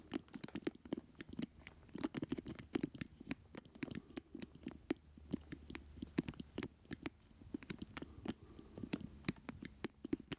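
Fingertips and nails tap and scratch across the hollow casing of a small square black plastic retro joystick controller with a red button, a ridged round base and its cable hanging down, held up in the air. Quick, dry, hollow plastic taps with a mid-low body land in an irregular patter, mixed with soft scratching and sharp, bright clicks. Each tap stops almost instantly with no ring.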